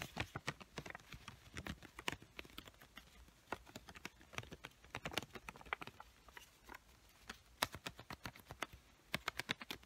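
Long white-painted nails rapidly tap the surface of a small square pink paper sticky note pad, a solid paper stack held up in the air. The taps come as quick, dry, crisp clicks with a bright edge and almost no ring, in an uneven flurry with a few louder bursts toward the end.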